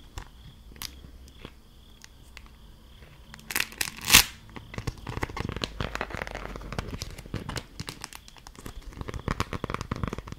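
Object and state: Beeswax food wrap being crinkled.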